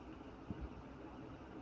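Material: Nothing is struck.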